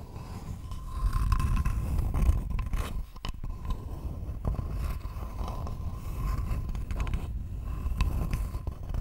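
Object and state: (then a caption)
Wooden board scratched. Long nails scratch across a thin, flat, rectangular wooden board held close to the microphone. The result is a steady, dense, low-heavy scraping rustle with brief quieter gaps. A faint constant tone runs underneath.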